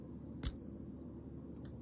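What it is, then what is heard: Genuine silver coin. A genuine silver Peace dollar held in a pocket Pinger tester is flipped once with a finger against the backdrop. It gives a clear, bell-like ring with a steady high pitch that sustains well past a second over a low background rumble. The ring marks the coin as real silver.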